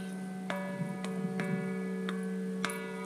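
A bronze church bell cast by Bollée hangs in a church belfry and is tapped by hand five times. Each tap gives a soft metallic tick over a steady hum of sustained harmonic tones, and the bell sounds only faintly.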